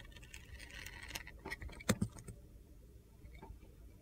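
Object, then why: Glitter soap bar carved with a steel blade. A steel utility knife blade scrapes and carves curls off a handheld solid red glitter soap bar, making a soft, gritty rasping scrape with bright crackle. A few sharp, crunchy clicks stand out near the middle before the scraping fades to a quiet hiss.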